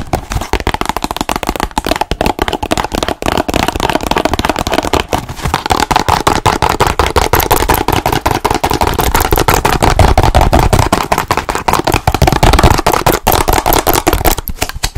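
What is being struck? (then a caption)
Small cardboard box. Long nails rapidly tap and scratch the sides and ends of a small rectangular cardboard box printed with ladybirds. The result is a dense, irregular stream of hollow, papery clicks over a scratchy hiss, with a thumpy low body and a brief bright edge on the strikes.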